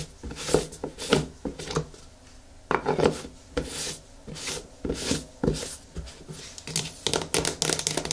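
Long nails scratch the lid rim and side of a medium yellow plastic hair-mask jar, then the jar is lifted and tilted in the hands. A quick series of dry, scratchy rasping strokes carries bright hiss over a hollow plastic body tone, with short bursts that die away almost at once.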